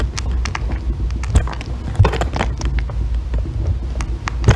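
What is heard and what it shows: A thin metal loop tool shaves a solid green bar of soap into curled ribbons. Soft, crackly scraping strokes run almost continuously over a low, muffled rumble, with a few sharper scrapes standing out.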